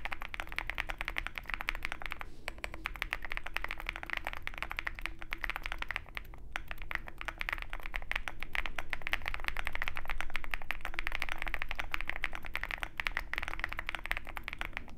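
A compact 65% Zoom65 mechanical keyboard with white plastic MT3-profile keycaps on a dark metal case sits on a desk mat beside a wooden wrist rest while both hands type continuously with their fingertips. The keys produce a fast, uneven stream of short, dry clacks, each with a low thocky body and a brighter clatter on top. The typing stays steady throughout and swells slightly louder around the middle of the clip.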